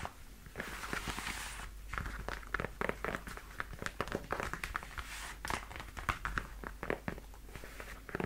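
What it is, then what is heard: Leather boot tapped with fingernails. Long white-tipped nails tap and scratch the leather shaft and toe of worn black leather knee-high platform boots with block heels and a hollow shaft over the leg. Dense, quick clicks and bright scratchy rubs come close together in an uneven stream, with short dull knocks underneath.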